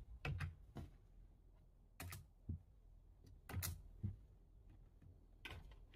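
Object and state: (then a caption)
Plastic computer keyboard being typed on. Fingertips type on the keys of a low-profile plastic computer keyboard, close up. About nine short, muffled clacks with a low thump land in small clusters separated by quiet pauses, each dying away almost at once.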